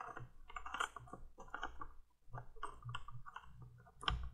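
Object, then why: Plastic flame bulb on a plastic candle tube. Long nails tap quickly on the small orange plastic flame bulb atop the plastic candle tube of a 1980s window light. The result is a run of light, dry plastic clicks with very short decay, a brief pause near the middle, and a louder tap near the end.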